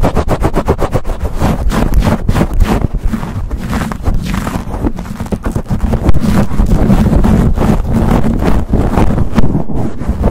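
A black foam windscreen over a silver USB condenser microphone, soft porous foam covering a hollow metal grille, is scratched and rubbed fast with the fingertips and short nails of both hands. The result is a dense, loud, uneven stream of muffled scratching and thumping, heavy in low rumble, with rapid bursts roughly four per second that blur together with little high-end crispness.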